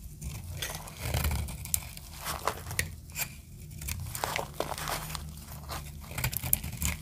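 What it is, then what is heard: Dry soap bar, crunchy when carved. A solid green dry soap bar is carved with a metal utility blade, and the shavings break off with crunchy, crackling scrapes. Bright, dry crackles and snaps come in quick uneven bursts over a steady low rumble, each one ending almost instantly.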